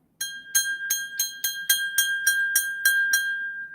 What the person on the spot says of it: it's got a beautiful ring to it love the ring